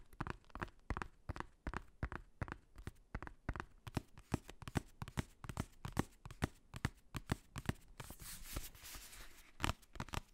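Fingernails and fingertips tap and scratch the black faux-leather cover of a hardcover notebook close to the microphone. A rapid, uneven series of short, dry taps with low thuds continues throughout, broken near the end by a brief bright, hissy scratching stretch before the tapping resumes.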